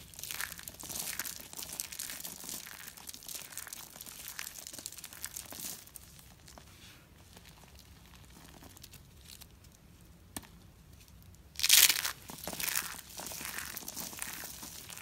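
Bare hands grab, squeeze and crunch a pile of brittle, light-blue dry soap flakes and crushed soap roses between fingers and thumbs on a rubber mat. Dense, bright crinkling crunches fill the first six seconds, then it goes quieter with softer rustling. A sharp, loud crunch bursts in near the end, followed by more crackling.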